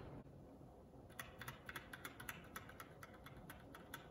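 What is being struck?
Mechanical keyboard with plastic keycaps.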